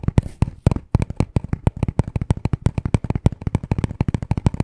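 Fast tapping with short nails and fingertips on a small, hollow black cardboard necklace package. It makes a rapid, irregular stream of dry, dull knocks with a low hollow body and crisp clicky edges. The hits die away almost instantly.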